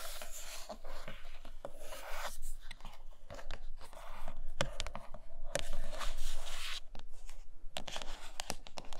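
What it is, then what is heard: Cardboard box, tapped and scratched. Long manicured nails tap and scratch the glossy printed top of a large, flat, closed iPad Pro cardboard product box that sounds hollow and likely empty. Soft, brushy scraping fills most of the clip, broken by sharp, short taps that ring only briefly. Low thumping sits underneath, and the scratches add a bright hiss.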